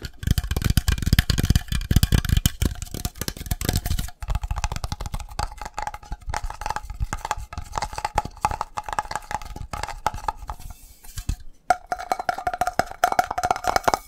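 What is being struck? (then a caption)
Metal coffee can. A metal coffee can is tapped very rapidly, giving a dense stream of dull, low knocks with almost no ring. A faint steady tone sits underneath. The tapping briefly pauses around 4 seconds and again near 11.5 seconds, then resumes.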